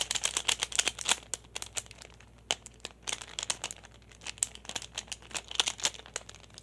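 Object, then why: Small plastic pyramid puzzle. Fingertips and nails tap and fiddle with a small, solid hand-held plastic pyraminx, a pyramid puzzle with coloured stickers. The result is a fast, irregular run of sharp, bright plastic clicks and crinkly ticks, each dying away almost instantly, with brief quieter gaps between bursts.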